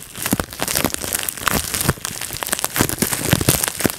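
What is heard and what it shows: A clear plastic bubble wrap sheet rests on a lap while fingertips pinch and pop its bubbles. A rapid series of sharp, bright pops and snaps rides over constant crinkling of the plastic, with each pop dying away almost instantly.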